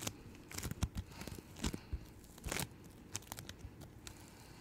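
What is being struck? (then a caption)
Floam bead slime. Yellow-green floam bead slime is pulled apart and stretched between two hands with long-nailed fingertips. It makes a sticky, tearing crackle in irregular bursts, with low squelchy thumps beneath bright bead pops and clicks, each dying away almost instantly.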